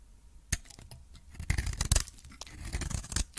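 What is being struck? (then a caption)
Coated soap bar. A metal blade scrapes across and cuts into a coated cream solid soap bar with orange remnants. Quiet scratchy scraping is broken by sharp, crisp crunches and clicks that spread from low thuds up to bright highs, each dying away almost instantly.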